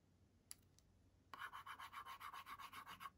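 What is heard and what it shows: A pink plastic stylus scribbles rapidly across the screen of a kids' LCD writing tablet with a white and pink plastic frame, leaving colored marks. After a couple of faint ticks, a fast run of bright, scratchy strokes repeats in a steady rhythm, each one short with no ring.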